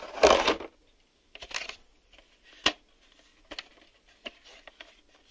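A black hard-plastic VHS video cassette, a hollow shell with reels inside, is held in both hands and tapped with fingertips and short nails on its front face and label window. A louder scratchy burst opens the clip, followed by scattered dry, hollow plastic clicks and taps with bright edges that die away quickly into quiet.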